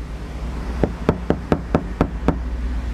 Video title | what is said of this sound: SOLUSI KABIN SENYAP & ADEM !! SUZUKI IGNIS PASANG PEREDAM FULL | ketika kita ketok nanti akan kedengaran suaranya dari atas